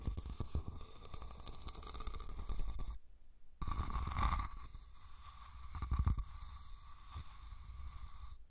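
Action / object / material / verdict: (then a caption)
scrape / woven rattan basket / rattan / none. Fingernails scratch and tap the weave of a hollow, red woven rattan cylindrical basket. The result is a dense run of soft, low, rustling scratches and dull taps, broken by a short silence just past the three-second mark. A faint steady tone sits underneath throughout.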